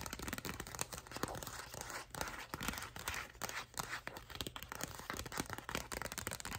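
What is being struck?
Paper envelope.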